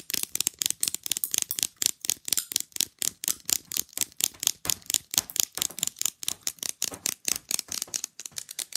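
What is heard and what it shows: Long glitter nails tap fast and scratch along the surface and edges of a small, rigid, rectangular printed picture fridge magnet, solid and flat. A quick, irregular stream of sharp, bright clicks and scrapes sits almost entirely in the high frequencies, each click dying away at once.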